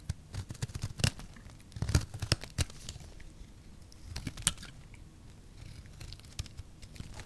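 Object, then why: Soap bar. A small utility blade shaves thin strips from a solid rectangular pink soap bar with orange sides held in the hand. Crisp, crinkly scraping and tearing sounds come in bursts, with sharp bright clicks and low thuds between quieter stretches.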